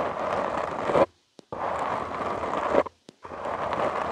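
Short nails and fingertips scratch the soft, porous black foam windscreen on a studio microphone. Three steady, rasping bursts of scratching are heard, strongest around the mids, separated by brief silences with small clicks between them.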